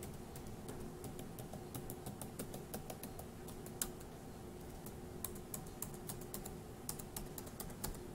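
A single index fingertip taps individual plastic keys on a dark grey laptop keyboard, one at a time. Each tap gives a short, bright click that dies away almost at once, over a low steady hum. The clicks come in a quiet, uneven stream, with a few landing harder than the rest.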